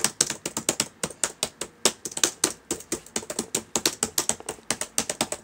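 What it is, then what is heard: Plastic laptop keyboard. Fingertips type on the plastic keys of a black laptop keyboard, producing a rapid, uneven run of 31 sharp, bright clicks. Each tap is short and dry and dies away almost instantly, with very little low end.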